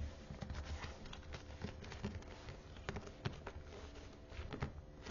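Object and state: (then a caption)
Faux leather book cover. Long manicured nails tap and scratch the teal, perforated faux leather cover of a thick, closed hardbound study Bible held upright in the hands. The result is a quiet stream of soft, dull taps and scratchy rustling, mostly low in tone, with brief clicks that die away almost instantly.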